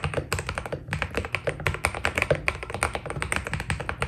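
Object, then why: Mechanical keyboard with plastic PBT keycaps. A white Keydous NJ80 mechanical keyboard with PBT keycaps is typed on with the fingertips of both hands. A steady, rapid stream of short, crisp keystrokes sounds, each a dry tap with a low thocky body and a bright click on top, dying away almost at once.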